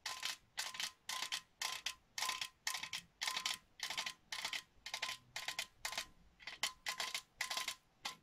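Long nails tap around the side of a hollow, cylindrical printed metal Christmas tin with an open top. The taps come in quick, bright bursts separated by short pauses, each carrying a thin metallic ring that fades almost at once.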